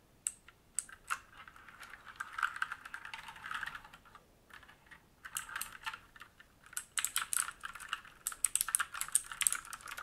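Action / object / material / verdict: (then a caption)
tap / mechanical keyboard with plastic keycaps and metal plate / plastic / none. Fingertips of both hands type on a black mechanical keyboard with plastic keycaps and a metal top plate, resting on a wooden desk. Quick bursts of sharp, bright clacking keystrokes come in runs separated by short pauses, each click dry with almost no ring and very little low end.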